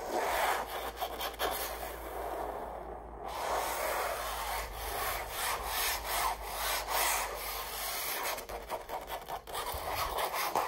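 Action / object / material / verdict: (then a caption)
scrape / stretched canvas print on a frame / canvas / none. Long acrylic nails scratch and rub across a red rose stretched canvas print, its textured fabric surface over a hollow frame. The result is a continuous dry, raspy scraping with a mid-range body and bright edges, swelling and fading in short strokes.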